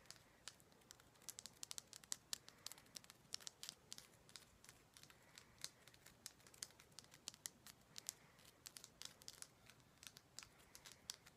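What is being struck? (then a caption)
Himalayan salt rock. Long black nails scratch and tap a large, solid, orange-pink Himalayan salt rock with a rough frosted surface. The result is a quiet, steady stream of crisp, bright clicks and dry crackling scratches with no low rumble.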